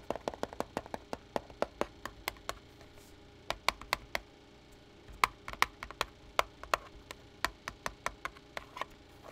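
Fingertips tap the back casing of a black plastic pocket calculator lying turned over on a pad. About 35 short, dry, clicky taps come in uneven bursts with brief pauses between them. The taps have a bright, hollow plastic tone, little low end, and no ring.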